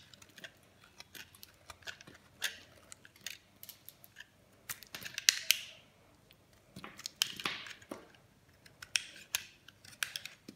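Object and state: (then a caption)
Dry bar soap being shaved. A metal blade shaves thick, crumbly slices off a solid green bar of dry soap held in the hand. Each cut makes a short, dry, crisp scraping crunch, bright and high with almost no low end or ring. The cuts come in scattered bursts over a quiet background.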